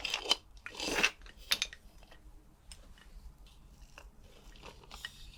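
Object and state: Skeleton bones clinking.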